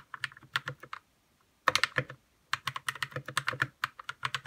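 Fingertips type on a white 60% RK61 mechanical keyboard with plastic keycaps, lubed red linear switches and an RGB backlight, its hollow case resting on a desk. Quick bursts of short, bright, clacky keystrokes with a soft low thump come in uneven runs, broken by two brief pauses. Each press dies away almost at once.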